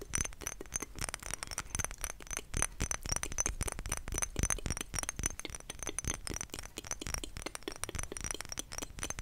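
A thick glass perfume bottle, partly filled with yellow liquid and topped with a white plastic daisy cap, is tapped with long nails on the glass. The result is a rapid, continuous series of sharp clicks and clinks with a bright high ring.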